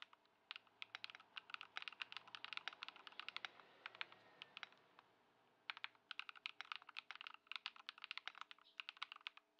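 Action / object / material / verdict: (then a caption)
tap / mechanical keyboard with plastic keycaps / plastic / none. Both hands type continuously on a white Ducky One 2 SF mechanical keyboard with plastic keycaps, modded with Poron foam and swapped to Lumia Matcha switches, resting on a dark mat on a wooden desk. It produces a dense stream of crisp, bright, short keystroke clacks centered around 2.4 kHz, with a brief pause near the middle before the typing resumes.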